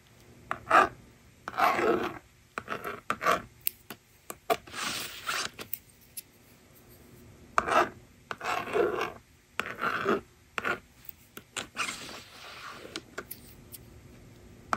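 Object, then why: Plastic magnetic drawing board with stylus. A hand with long painted nails holds a yellow plastic stylus and scratches lines across the honeycomb screen of a small hollow plastic magnetic drawing board, a toy with a blue frame and pink border lying on a table. Dry, raspy scratching strokes come in short, irregular bursts with quiet gaps between them. The strokes carry a bright, filing-like texture.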